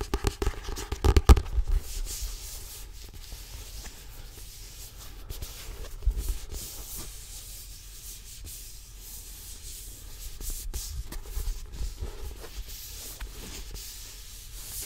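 Fingertips and nails rub and scratch the paper cover and page edges of a thick, solid Harry Potter paperback novel. The sound is a soft, steady scratching and rubbing over a low, muffled rumble, with a few louder scrapes near the start and around the middle.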